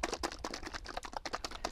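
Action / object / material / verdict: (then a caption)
shake / plastic bottle of liquid polish / plastic / none. A plastic bottle of Novus No. 2 liquid plastic polish is shaken hard before use on a 1/32 scale Porsche 356 Speedster model car body. The liquid sloshes and knocks inside the bottle in a quick, steady series of short, dry rattling bursts.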